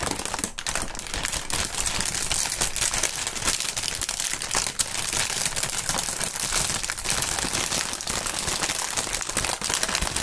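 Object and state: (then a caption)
Plastic air-pillow packaging film being crinkled. Fingers crinkle and squeeze clear polyethylene air-cushion packaging film, the plastic air pillows used for packing. A dense, steady stream of bright, crisp crackles and rapid small snaps continues throughout, with occasional louder crinkles and very little low end.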